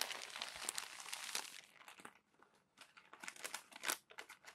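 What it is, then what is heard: Crumpled glossy paper magazine. Fingertips turn the crinkled pages of a crumpled glossy paper magazine and smooth them flat. A dense, bright crinkling rustle fills the first second and a half, then thins out and nearly goes quiet. Sparser crackles and crisp snaps follow, with one louder crinkle near the end.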